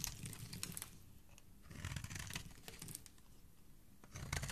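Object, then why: Bar of soap. A metal blade shaves the edge of a solid white, hand-sized bar of soap held in fingers with dark nails. Dry, crisp scraping and crackling bursts come in three busier stretches, at the start, through the middle and at the end, with bright, papery detail over a low rumble. Each scrape stops dead, with no ring after it.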